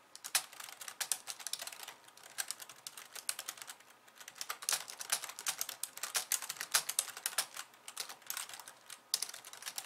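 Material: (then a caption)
Plastic. Long painted nails type on a pink low-profile plastic keyboard with white keys resting on a wooden desk. The result is rapid, crisp, bright clicking in uneven bursts separated by short pauses, each tap dying away almost instantly with no low thud.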